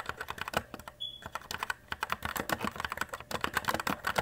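A compact white E-Element Z-88 RGB mechanical keyboard with plastic keycaps is typed on with fingertips in steady key presses. The result is a quick stream of sharp, short plastic clicks and clacks, with a brief pause near the one-second mark. A faint high tone sounds during that pause.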